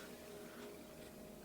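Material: Nothing is struck.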